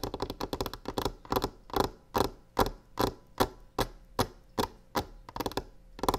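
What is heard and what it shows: Long fingernails on both hands tap and scratch the surface of a solid varnished wooden tabletop; the box on it is not touched. A quick flurry of light, clicky taps opens the clip, then slower, evenly spaced sharp knocks follow. Each knock has a short, scratchy tail, and a faint low hum sits underneath.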